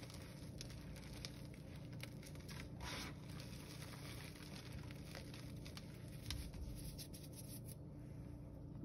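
Bare hands squeeze, crush and rub a pile of crumbled blue gym chalk powder with small chunks between fingers and palms. The result is a steady, quiet stream of soft crunching, crinkling and gritty crackles over a low rumbling bed, with brief brighter crackly bursts as the chunks break apart.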